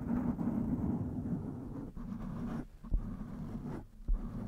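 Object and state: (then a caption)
Foam microphone windscreen being scratched. A blue foam windscreen on a black microphone is held and scratched around its sides with the long nails and fingertips of both hands. The result is a steady, muffled, low-heavy rustling and scraping with no bright top end, dipping briefly in a few places. Two sharper low thumps stand out near the end.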